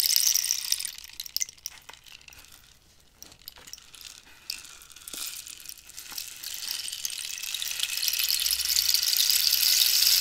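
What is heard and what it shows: Fingertips and nails scratch and tap the ridged wooden surface of a hollow cactus-skeleton rainstick with a striped end cap. A bright, hissing rasp starts loud, thins to softer scratches with scattered sharp taps in the middle, then swells back into a dense, high scraping wash by the end.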